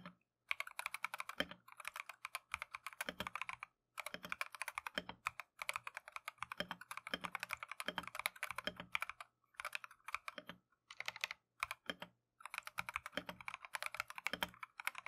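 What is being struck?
Plastic mechanical keyboard.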